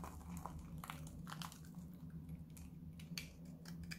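A metal knife blade cuts and scrapes a solid white bar of dry Lux soap held in the hand, making a series of short, dry, crunchy scraping sounds with bright high edges. A steady low hum sits underneath throughout.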